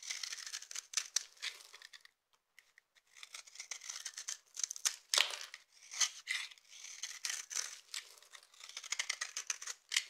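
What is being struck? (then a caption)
Bar of soap. A knife with a yellow handle scrapes and shaves the surface of a solid, rounded, palm-sized bar of dry red-purple soap held in one hand, throwing off fine curls and crumbs. Quick bursts of bright, dry crunching and scratching follow one another with a brief near-silent pause a little after two seconds. There is no low end and almost no ring after each stroke.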